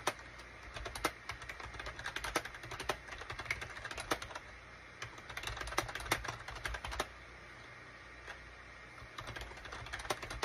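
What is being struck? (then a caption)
Plastic computer keyboard. Fingertips of both hands type rapidly on a gray SHIPADOO K600 full-size wired USB keyboard with a gray plastic case and cream, gray and orange plastic keycaps. Quick bursts of bright, short plastic clicks and clacks die away almost instantly, with brief lulls in the tapping near the middle and later in the clip.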